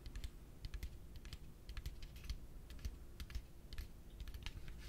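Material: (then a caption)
Plastic. A yellow hollow plastic piggy bank is held in one hand and rapidly tapped with the fingertips and nails. It gives a quick run of short, dry, clicky taps with bright highs over a low, steady hum.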